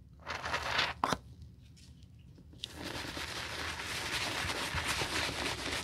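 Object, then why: Leather sneaker heel, brush bristles. Foamy cleaner is scrubbed with a bristle brush over the heel of a white leather sneaker. A short bright scrubbing burst gives way to a couple of sharp taps and a quieter pause, then a click. After that, a steady, hissy, bright bristle scrubbing continues to the end.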